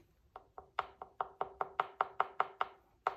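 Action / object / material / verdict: tap / leather-hard clay bowl / clay / right thickness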